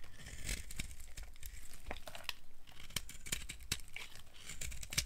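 A solid tan bar of dry soap, held in the hand, is carved with a blade so curls of soap break off. The result is a quick run of dry, crisp scraping and crackling snaps with bright, sharp edges, each dying away almost instantly, over a faint low rumble.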